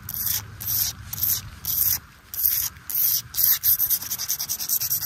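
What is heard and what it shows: Fingertips and nails rub and scratch across a large, flat, solid flagstone lying on mulch and wet from rain. Bright, hissy scraping strokes come in uneven bursts, growing quicker and choppier toward the end, with faint rain possibly audible underneath.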